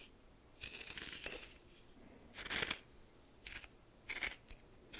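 A red plastic spoon held in the fingers stirs and scrapes a pile of white coarse salt in a small bowl that looks like glass. Bursts of scratchy, bright crystal scraping and grinding rise and fall between quieter pauses, with almost no low end.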